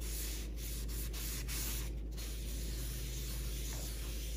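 A large, solid, rectangular end-grain cutting board in a mixed-wood 3D weave pattern sits on a granite counter while its wet, oiled surface is rubbed in circles with a paper towel held in the fingertips. The result is a steady, soft rubbing and swishing sound with a low hum underneath and brief dips where the strokes change direction.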